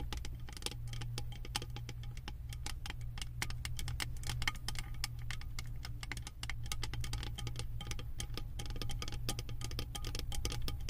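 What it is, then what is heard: Metal candle jar lid tapped with nails. Long acrylic nails tap and scratch a round, embossed metal lid studded with small metal beads on a full candle jar. Quick, bright, dry clicks patter densely and steadily over a constant low hum, easing briefly at about six seconds before picking back up.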